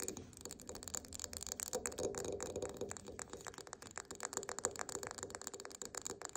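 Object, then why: Wax pillar candle tapped and scratched with fingernails. A large, solid cream wax pillar candle with a paper label lies on its side on a table and is tapped and scratched with long painted nails. Quick, irregular dry taps and bright scratchy rustling run throughout, each tap dying away almost instantly over a faint steady tone.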